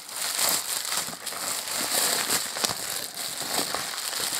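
A clear plastic bubble wrap sleeve around a small boxed phone is unwrapped with the fingertips of both hands, rubbing and crinkling the air-filled film. The result is a steady, bright crinkling and crackling with sharp clicks throughout and almost no low end.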